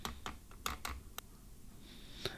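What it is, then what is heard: Metal credit card. A gold metal credit card weighing 17.2 g, about three times a 5.5 g plastic card, is tapped against something metal. It gives a series of short, sharp clicks with a bright ringing tone, the last tap the clearest.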